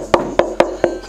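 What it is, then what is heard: Resonant instrument body with good tap tone. A hand knocks four times on an assembled F-style Cellotar body with a plywood top and back. Each knock gives a short, woody, tonal ring centered near 350 Hz. The body sounds resonant and well built, with a good tap tone.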